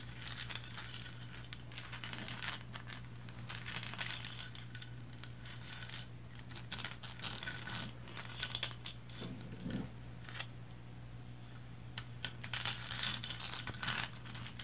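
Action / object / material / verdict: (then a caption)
scrape / small painted resin figurine / resin / none. Long blue nails tap and scratch the sides of a small, upright, painted resin lighthouse figurine. The result is a continuous run of bright, crinkly scratching and light clicking over a steady low hum, with louder bursts of scratching near the end.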